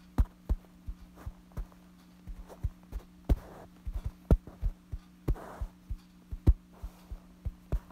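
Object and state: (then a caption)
Fabric bedsheet. Fingertips scratch and tap a light-colored soft fabric bedsheet lying flat. The sound is a run of soft, dull, low thumps at uneven intervals, with a few brief scratchy rustles in between. A steady low hum runs underneath throughout.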